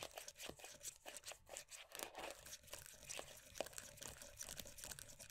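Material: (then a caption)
Plastic. Long nails quickly tap and scratch across the printed lid top and side of a closed, round plastic moisturiser tub. The sound is a rapid run of crisp, dry clicks mixed with bright, scratchy rustling, each tap short with almost no ring.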